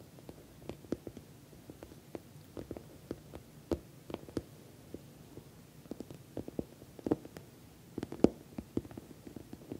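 Long nails tap and scratch along the top edge and sides of an orange glossy patent vinyl cosmetic pouch. A quiet, irregular stream of short, dull, low-mid taps sits over a soft scratchy rustle, with each tap dying away almost instantly and no bright ring.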